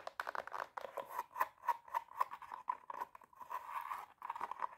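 Long teal nails scratch and tap quickly on the glitter fabric of a hollow, empty silver glitter stiletto pump. The result is a rapid run of dry, scratchy taps and rasps with a midrange tone near 1 kHz. Each touch dies away almost instantly.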